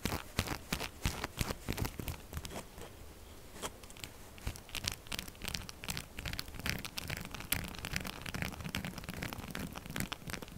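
Long glitter nails scratch the grooves of a pink textured solid soap bar and tap rapidly on its face. The result is a fast, irregular stream of dry, crackly scratches and short clicking taps, with bright edges over a soft low thump. The sounds stop quickly and run steadily for about ten seconds.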